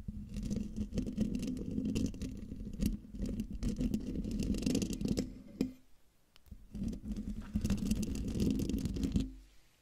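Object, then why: Metal mesh microphone grille. Long dark nails of both hands quickly scratch the hollow metal mesh grille of a silver condenser microphone. The result is a dense, rasping scrape with a low buzzing tone around 200 Hz. It pauses briefly near the middle, resumes, and then stops just before the end.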